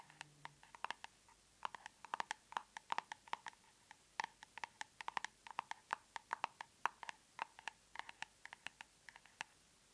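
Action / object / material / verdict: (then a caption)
tap / plastic cosmetic tub with lid / plastic / none. Long nails tap and scratch the lid of a large, round, hollow plastic tub of aloe soothing gel, likely full and closed, standing in a box. About fifty quick, quiet clicks come in uneven bursts, each with a hollow plastic ping near 950 Hz and a bright edge, dying away almost at once.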